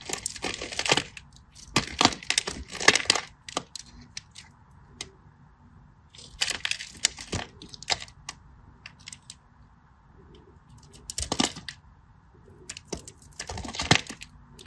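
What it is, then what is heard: Bar soap being cut. A solid green bar soap, held by a hand with long blue nails, is scratched and cut into small cubes with a craft knife. Short clusters of bright, crisp scraping and crackling cuts come in bursts, separated by quiet pauses over a faint steady background hiss.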